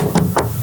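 Knuckles knock twice on the aluminum exterior body panel of a real-life Halo Warthog replica vehicle, whose exterior is aluminum except for a fiberglass hood. Two short, dull knocks with a low tone around 180 Hz die away quickly.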